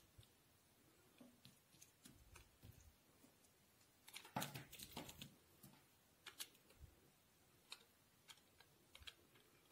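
A solid white bar of soap held in the hand is scraped and cut with a steel utility knife blade, and shavings fall off. Quiet, crisp scraping ticks and bright crackles come in sparse bursts, with a denser, louder run of cutting partway through before tapering back to scattered clicks.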